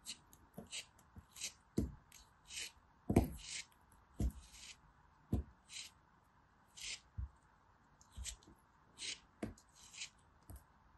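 A small metal blade scrapes and cuts into a hand-sized, solid, green, sandy-textured pressed soap shaped like a turtle, held in the fingers, and the soap crumbles as it is cut. About 19 short, separate scrapes and crunchy cuts are heard, each with a bright gritty hiss and a soft low thud that dies away almost at once.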